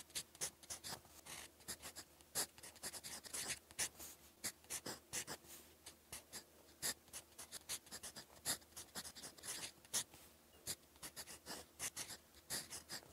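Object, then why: Metal fountain pen nib on a paper notebook page. A gold-coloured metal fountain pen nib, held in the fingertips, writes blue Korean handwriting across a lined paper notebook page lying flat on a desk. Dense, quick scratching strokes come through as many short, dry, bright ticks with almost no ring, quiet overall and sitting mostly in the high range.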